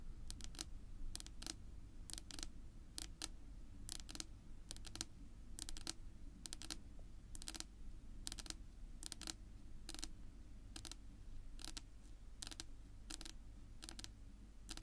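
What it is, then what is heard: Wooden tabletop tapped with fingernails. Long natural nail tips tap on a flat, solid dark wood-grain tabletop. The result is a quiet, irregular run of sharp, bright clicks that die away almost instantly over a steady low rumble.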